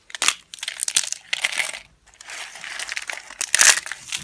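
A hand presses and crushes a pile of dry yellow household laundry soap slices and broken flakes with its fingertips and palm. Bright, dry crunching and crackling comes in bursts, with a short pause near the middle and a louder crunch near the end.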